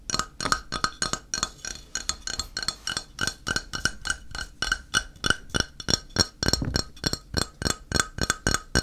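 Fingertips tap rapidly and somewhat unevenly on a solid, flat, square grey ceramic tile held upright, at roughly three taps per second for about nine seconds. Each tap is a short, bright clink with a faint tone near 1.3 kHz and very little ring.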